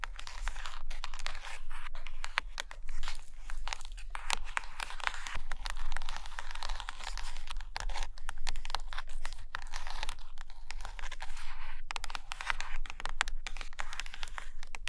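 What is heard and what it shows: Long nails scratch and tap on the top cover and page edges of a stack of hardcover paper books in Russian resting on a carpet. Dense, crinkly scratching mixes with rapid dry taps over a steady low hum, with no talking.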